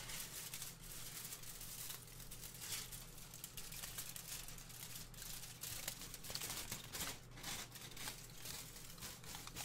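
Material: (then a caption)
Aluminium foil. A thin, large sheet of aluminium kitchen foil, held in the hands beside the microphone, is crumpled and crinkled with the fingers. It makes a steady stream of bright, sharp crackles and rustles, with brief louder crinkle bursts. A faint low hum sits underneath.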